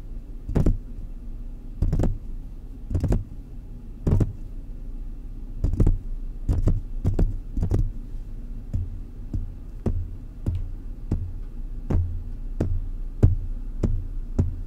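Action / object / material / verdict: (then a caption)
tap / metal mesh microphone grille / metal mesh / none. Fingertips from both hands tap the hollow mesh grille of a large silver metal desktop condenser microphone on a stand. The result is a run of dull, low, thumping taps with a soft bright click at each strike. The taps die away almost instantly over a steady low hum.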